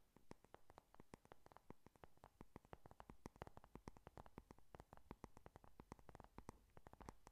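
Long nails tap and scratch across the closed cardboard cover of a flat pink "Honey Lust" eyeshadow palette. The result is a quiet, rapid stream of short, dry clicks with a soft, low-weighted body and no ringing, broken by faint scratchy brushing between the taps.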